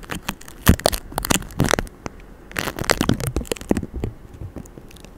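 Fingertips of both hands rub, scratch and tap quickly over the hollow metal mesh grille of a white Blue Yeti microphone covered in vinyl stickers. Dense bursts of crackly, buzzy scratching come with sharp, dry taps and a low thump underneath.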